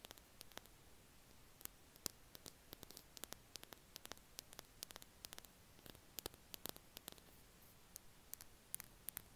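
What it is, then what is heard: Plastic highlighter pen. A small, hollow green plastic Stabilo Boss highlighter is held between both hands and tapped and scratched with the fingertips and nails. Quick, dry, bright clicks come in irregular bursts over a steady low hiss, each dying away almost instantly.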